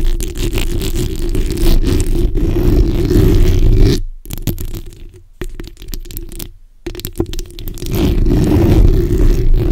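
The backs of long acrylic nails scratch across the hollow, black, ball-shaped metal mesh grille of a USB condenser microphone in repeated strokes. The result is a dense, rough scraping that sounds boomy and low-heavy through the mic. The scraping breaks off into brief silences in the middle before picking back up at full level.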